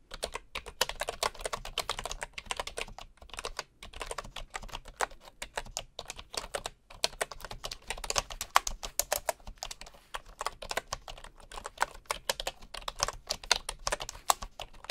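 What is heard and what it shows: One hand at the left edge of a bamboo wooden keyboard types on the wooden keys with its fingertips, while a bamboo mouse sits nearby untouched. The result is a steady stream of quick, dry, bright clicks and clacks with brief pauses between bursts and almost no ring.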